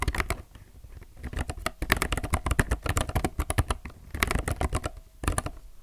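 Fingertips type continuously on a low-profile mechanical keyboard with plastic keycaps, recorded close up. Rapid, short clacky keystrokes come in bursts with brief pauses, with a dull, low-weighted thock under bright clicks.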